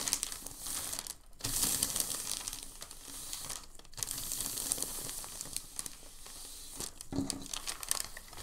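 Fingertips press a thin, crinkled sheet of white packing paper, then lift and fold it, producing dense, bright crinkling with a crisp high hiss. The rustling comes in steady runs, broken by brief near-silent pauses around 1, 4 and 7 seconds.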